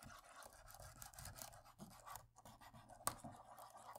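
A cotton swab rubs and scrapes across the plastic keys of a laptop keyboard, working toward the right edge of the keyboard. A quiet, continuous scratchy swishing with soft bursts fills the clip over a faint low hum, and one sharp, bright click stands out about three seconds in.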